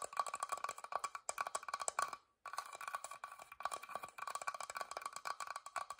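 A wooden box is tapped quickly with fingers, producing rapid dry, hollow knocks with a woody tone centered around 1.1 kHz, each dying away almost at once. The dense tapping runs in bursts, pauses briefly in near-silence just after the two-second mark, then resumes at the same quick pace.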